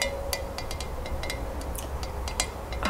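Light, quick taps on a glass candle holder containing floating candles give a series of short, bright clinks with a high ring around 2 kHz that fades almost at once. A low, steady rumble sits underneath throughout.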